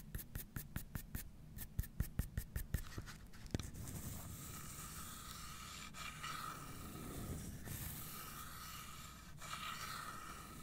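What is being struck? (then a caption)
Carved wooden box. Long nails work over the wooden bottom and side of a carved wooden domino box held upright. A quick run of sharp, dry clicks comes first, then a steady, raspy scratching with a bright hiss that swells and fades for the rest of the clip.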